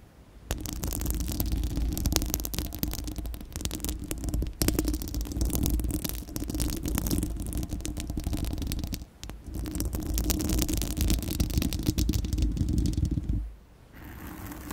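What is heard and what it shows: Long acrylic nails on both hands scratch directly across the bare, uncovered round steel-mesh grille of a large condenser microphone's hollow dome. This makes a dense, continuous crackling scrape over a heavy, boomy low rumble. The scratching briefly dips around nine seconds and fades to a quieter hiss near the end.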